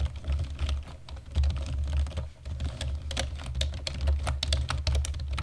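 Fingertips of both hands tap the keys of a black plastic computer keyboard in steady typing. The taps are short, dry clicks with bright edges over a constant low rumble.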